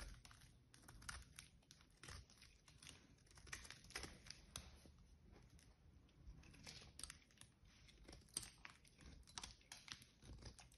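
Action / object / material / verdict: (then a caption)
scrape / bar of soap scraped with a small metal blade / soap / none. A small metal blade cuts and scrapes shavings off a solid green bar of soap held in the hand. The sound is a dense run of quiet, crisp scratching and crackling with bright, high-pitched edges and a soft low rumble underneath.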